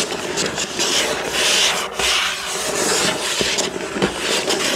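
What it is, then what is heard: Cardboard toy box being scratched. A hollow, flat printed cardboard box from a building-block set, lying on a wooden table, is scratched and rubbed across its front with the fingertips and nails of one hand. The result is a continuous bright, papery scraping and rasping, with the strokes swelling and fading and a few short sharper scratches.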